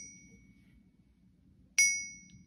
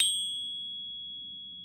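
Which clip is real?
The first.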